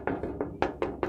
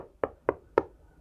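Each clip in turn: First: thin metal case side panel, metallic ring. Second: fabric-lined case side panel, dull and damped.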